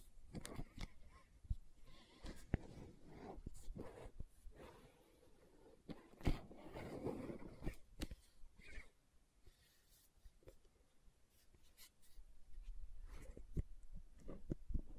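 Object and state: Plastic gel jar, nail tapping and scratching.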